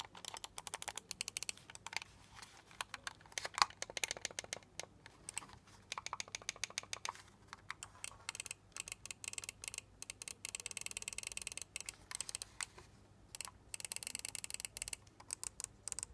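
A small hollow black plastic LED gaming mouse is held in the hand while fingertips tap fast on its buttons and top shell, mixed with button clicks. The result is a dense run of quick, bright plastic clicks and taps with almost no ring, broken by brief pauses.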